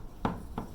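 A piece of bisque clay, fired in a kiln at about 1900 degrees, is tapped twice, giving two short knocks with a low-mid tone around 190 Hz that die away quickly. The fired clay gives the normal metallic, glass-like ring of bisque, unlike unfired greenware.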